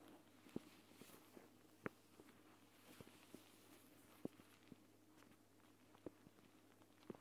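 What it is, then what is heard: Gel bead eye mask, tapped. Long dark-painted nails and fingertips tap, press and scratch the surface of a flat, hand-sized clear plastic eye mask filled with green gel beads, lying on a woven mat. Short, crisp plastic taps land at an irregular pace over a faint, steady hum, with soft scratching and rustling in between.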